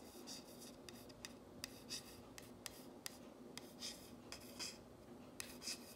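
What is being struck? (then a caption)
Painted wooden plank sign. Fingernails trace in long strokes and scratch over the letters of a flat, solid painted wooden plank sign reading "If MaMa ain't happy," which has a wire hanger and lies on a cloth. Quiet, bright rasping rubs are punctuated by short, sharp scratchy clicks that die away instantly, over a faint steady background.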